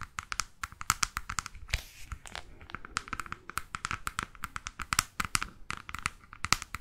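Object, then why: Large hardcover book with glossy laminated board cover. Long fake nails tap and scratch the glossy laminated board front cover of a large, solid hardcover photo book about Mexico. Quick, bright, clicky taps ring around 1.3 kHz, with a brief rasping scratch near the two-second mark. Each tap dies out almost at once, with no resonance.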